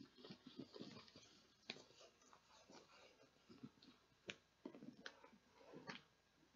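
Long nails tap and scratch the printed plastic lid and sides of a clear plastic tub with a blue handle, partly full of beads. Quiet, bright clicks and soft scratchy rustles are heard, with a few sharper taps standing out. Each tap dies away almost at once.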